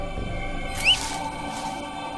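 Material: Nothing is struck.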